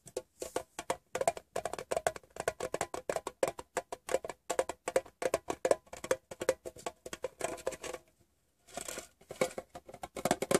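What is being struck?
Small hollow sheet-metal tin.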